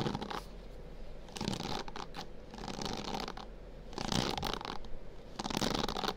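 Fingertips scratch and rub across the dense bristles of a white plastic bristle hairbrush held near a binaural microphone. Bursts of bright, crackly rasping swell and fade over a steady low rumble, with quieter stretches between the strokes.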